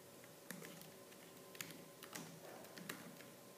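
Fingertips with purple-painted nails type fast on the black plastic keys of a laptop keyboard. About six sharp, bright clicks stand out over a steady low background hum, each decaying quickly.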